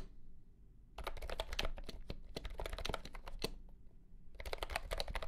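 Fingertips type on a compact pastel green plastic keyboard with round keycaps and a hollow body, under green light. Quick, bright clacky key presses come in a dense burst, pause briefly, then resume over a steady low hum.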